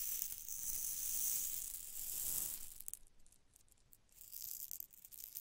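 A long, narrow glass test tube with a cork stopper, partly filled with small pink beads or rhinestones, is held in one hand with long dark nails and tilted back and forth over the microphone. The beads slide and rattle inside the tube in a bright, hissy shaking that fades to a soft pause and then rises again.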